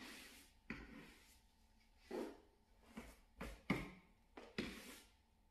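Fingertips in a blue nitrile glove rub and scratch a small grey shaggy synthetic pile door mat. Quiet, dry brushing strokes come in soft rustling bursts with a broad, bright hiss, each fading quickly into low background.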